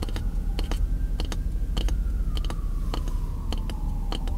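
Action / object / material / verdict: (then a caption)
tap / pine wood block / wood / none. A solid piece of pine lumber, about the size of a short 2x4 offcut, is held in one hand while the fingertips and nails of the other hand tap and scratch the wood. Quick, dry clicks and taps with very short ring come in irregular bursts over a steady low rumble, and a faint tone slowly glides downward underneath.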